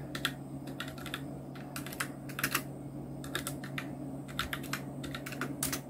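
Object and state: Plastic mechanical keyboard.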